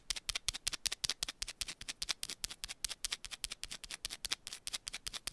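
Long pointed nails rapidly scratch and tap a small, solid, rectangular yellow bar of soap held in one hand. About thirty quick, dry, bright clicks and scrapes follow one another in a steady, fast rhythm. Each sound is crisp and high with almost no low end, and it stops instantly without ringing.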